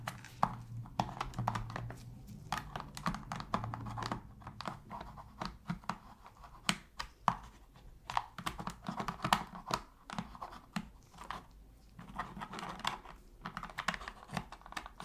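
A thin metal pick scratches and scrapes along the seams and trigger area of a black, hollow, hand-sized hard-plastic PS3 controller held in blue-gloved hands while it is being cleaned. The result is quiet, dense clicks, ticks and short scrapes centered around 1 kHz, with brief bright edges. A faint low hum sits underneath.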